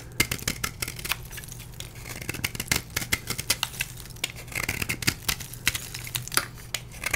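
A solid blue-dyed gym chalk block, held in the hand, is scraped with a metal blade, and chalk flakes fall onto a plastic tray. Many short, crisp, bright scrapes and ticks come in quick succession, each dying away almost at once. A faint low hum runs steadily underneath.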